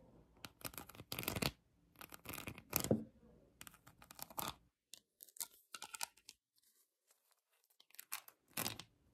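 Long acrylic nails scratch across colored acrylic rhinestones covering a plastic heart, up close. Irregular bursts of dry, crackling scratches with a bright, tearing texture come and go, separated by brief silences, at a low level throughout.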